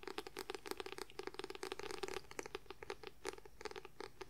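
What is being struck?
Paperback book with paper cover.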